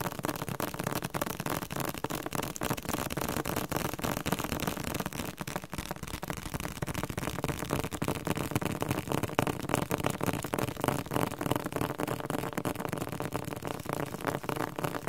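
Fingertips tap and scratch on the glossy cover of a thick, solid yellow-green softcover dictionary. The taps come quickly and unevenly, with short, dull, low-weighted thuds and almost no ring, under a steady scratchy texture that runs throughout.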